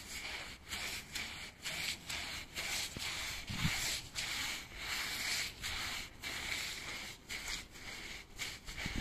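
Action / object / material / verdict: scrape / woven machine-made rug / woven textile / none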